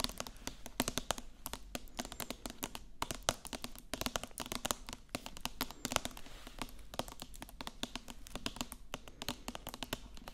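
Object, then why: Hardcover book with foil-laminated cover. Long acrylic nails tap rapidly on the glossy silver foil cover of a solid, medium-sized hardcover book held upright. The result is a dense stream of dozens of short, crisp clicks with almost no ring, over a faint steady low hum.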